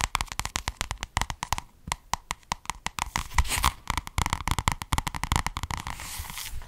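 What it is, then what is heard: Paperback book tapped with fingernails. A small white and red paperback book with a cardboard cover, solid and held in both hands, is tapped on the cover with long red nails. Quick, dry, clicky taps come in fast irregular bursts, running into a denser, softer rustling patter toward the end.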